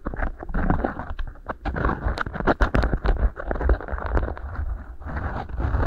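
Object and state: Beeswax food wrap.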